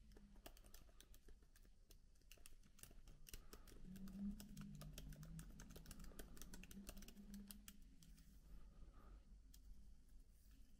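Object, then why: Plastic laptop keyboard keys. Two hands type with their fingertips on a MacBook keyboard with plastic keycaps, producing a steady, irregular patter of soft, quick clicks. The key taps are short and bright and ride over a low, continuous hum that swells slightly in the middle of the clip.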